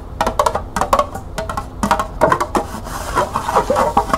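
Long nails tap the flat base and side of a small, hollow, empty green plastic cup held sideways. A quick, uneven run of light, hollow clicks with a woody, wood-block-like tone centred around 1 kHz, each dying away almost instantly.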